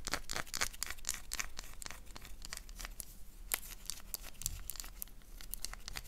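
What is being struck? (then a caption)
Solid bar of soap. A solid oval black soap bar is scraped and scratched with fingernails, leaving visible shavings. Quick, irregular dry scratches with bright crackling edges repeat steadily throughout, close-up and quiet.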